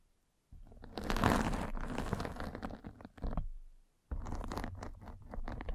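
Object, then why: Fabric mesh microphone cover scraped by a spiked roller. A metal-spiked derma roller is rolled steadily across the top of a white fabric mesh net stretched over a round microphone head, scratching it. The result is a dense, rumbling, crackly scratching that is heavy in the low end. It fades briefly, drops out near the four-second mark, then resumes for the rest of the clip.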